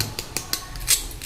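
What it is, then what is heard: Crisp fried potato balls. Freshly fried fasting-style potato balls are tapped with a spoon, giving six short, bright, crunchy clicks with faint rasping in between. They are fully crisp.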